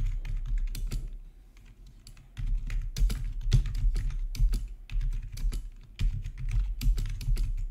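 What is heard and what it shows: Fingertips type on the keys of a full-size black plastic RGB backlit gaming keyboard with a hollow housing, resting on a marble surface. Short bright clicks fall in an irregular stream over a deep, hollow low-end thump, easing briefly into softer taps before resuming at a steady pace.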